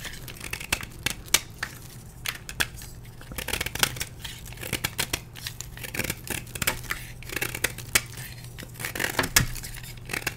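A metal blade scrapes and carves a solid blue and white dyed gym chalk block held in hand, with flakes breaking off. It makes a steady run of sharp, bright, dry scratches and crisp cracks over a faint low hum.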